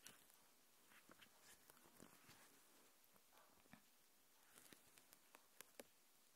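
A thin, translucent plastic protective film sheet is held in both hands and folded, stretched and crinkled with the fingertips and long dark nails close to the recorder. Soft, bright crinkling runs throughout, broken by brief sharp crackles and taps that stop almost instantly.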